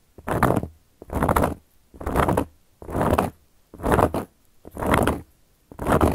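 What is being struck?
Round flat cork coaster.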